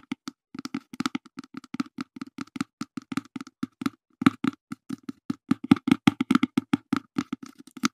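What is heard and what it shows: Fingertips tap rapidly and irregularly on a small, open, brown cardboard box that is hollow and mostly empty and held in the hands. Each tap is a short, dry, hollow knock centred around 266 Hz, with a faint brighter click, and dies away almost instantly. The taps come in quick bursts with brief pauses.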